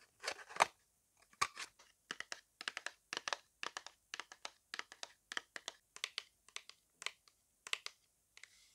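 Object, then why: Small cardboard box tapped with fingernails. Long acrylic nails tap and scratch along the sides and edges of a small, closed white printed cardboard box with a barcode, held in both hands. The result is a steady run of quick, dry clicks and scraping crinkles with a bright, papery edge, each stopping almost at once with no ring. The bursts come in dense clusters across the whole clip, with short silences between them.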